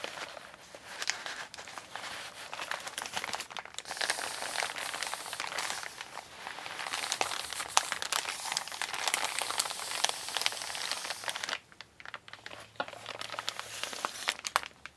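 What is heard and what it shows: A large, flat, empty and creased brown kraft recycled-paper Amazon mailer bag lies on a wooden table while fingertips with long pink nails press, rub and crinkle its surface. The result is a dense stream of dry, bright paper crackles and crinkles with almost no low end. It quiets briefly near the end before resuming.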